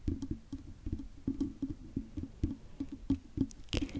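Long fingernails on both hands tap and scratch the hollow silver metal mesh head of a large condenser microphone. The result is a quick, uneven run of soft, dull knocks centered around 270 Hz, each dying away almost at once. A brief brighter scratch stands out near the end.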